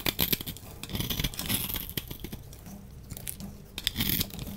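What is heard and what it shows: A solid lilac bar soap held in the hand is scraped with a utility knife blade, and powdery shavings fall away. Dry, crisp scraping and tearing-like strokes come in uneven bursts with a bright hiss and soft low thuds beneath, easing quieter in the middle before a final flurry of strokes.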